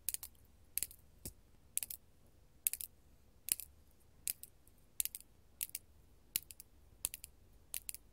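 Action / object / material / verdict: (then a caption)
tap / faceted glass crystal / glass / none. Long gold metal claw nails tap and scratch a large, solid, faceted purple artificial glass crystal gem held in the hand. The result is quiet, crisp, bright clicks in quick clusters, each dying away almost instantly against a soft low hiss.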